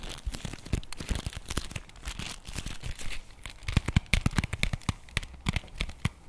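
A flat printed cardboard chocolate bar box is held in both hands while fingertips and nails tap and scratch quickly across its surface and edges. The result is a dense run of dry, short taps with a low papery thump, mixed with bright crinkly scratching. Each tap dies away almost instantly.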